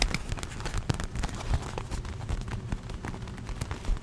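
A small red and green watermelon-print inflatable vinyl pool float, hollow and air-filled, is held in the hands and tapped and rubbed with long nails and fingertips close to the microphone. The result is a steady run of soft, low, hollow thumps mixed with short, bright nail clicks and light rubbing over a continuous murmur.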